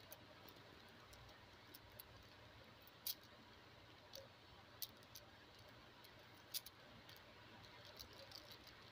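A bracelet of small round pastel plastic beads is handled, rolled and shaken between fingers with long blue-painted nails, so the beads click together. About eleven sharp, bright, irregularly spaced clicks sound over a quiet, steady hiss.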